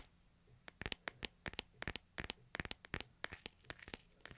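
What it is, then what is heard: Smartphone in hard plastic case. Fingernails tap and scratch along the edges of a hand-sized smartphone held in both hands inside a light hard plastic case. A quick, uneven series of sharp, bright clicks rings off almost instantly, with faint scratchy rustling between them, all at a soft level.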